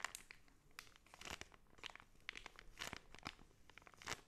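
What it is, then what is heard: Plastic zip bag of kinetic sand (crinkling). A clear zip-lock plastic bag full of pink kinetic sand is pressed and rubbed with the thumb and fingertips, so the bag crinkles. Quiet, bright crackly crinkles and soft crunches come in quick, irregular bursts with very short decay throughout.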